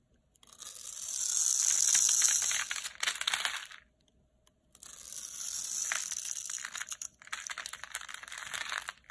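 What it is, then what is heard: Dry bar soap being carved. A metal utility knife scratches and carves into a solid, palm-sized red Lux bar of dry soap held in the hand, scoring a grid and shaving off small cubes. Two long passes of dense, bright, crisp scraping and crumbly crunching are heard, separated by a brief pause near the middle.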